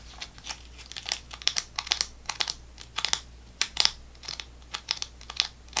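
A full, squeezable foil-plastic GoGo squeeZ apple sauce pouch with a screw cap is held in hand and tapped and scratched with long nails. The result is a rapid, irregular series of crisp, crinkly ticks and scrapes, bright and high-pitched with almost no low end. Each sound dies away almost instantly.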